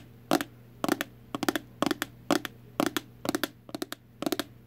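Long acrylic nails tap and scratch a hand-sized, hollow, translucent red plastic heart-shaped box. Crisp, dry clicks come in nine short bursts of two or three quick taps each, with almost no ring. A faint steady low hum sits underneath.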